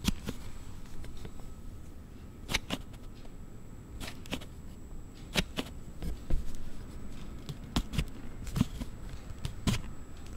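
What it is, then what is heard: Plastic sliding phone case. A phone in a hard plastic sliding case, likely a Galaxy Note 7 case, is held in both hands while a thumb slides the panel back and forth. Sharp, bright clicks and snaps ring out at irregular intervals over a low, rumbling handling noise. A faint steady high tone runs underneath throughout.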